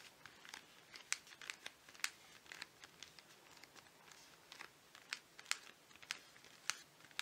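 Fingernails tap and scratch a flat printed cardboard chocolate bar sleeve with the bar still inside, held in both hands. The result is a quiet, irregular run of sharp, bright clicks over a soft, dry, crinkly scratching texture with almost no low end, each tap dying away instantly.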